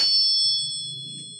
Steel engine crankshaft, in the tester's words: kita pukul pakai besi, bunyinya nyaring seperti lonceng